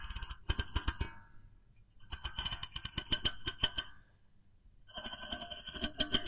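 A small, hollow, cream-coloured plastic mooncake press mold, held sideways, has its plunger disc and body tapped with fingertips and nails. Quick, dry clicks and taps come in three bursts separated by quiet pauses, with a faint hollow thump beneath a bright, hard plastic click and a brief high ring near 3.1 kHz that dies almost instantly.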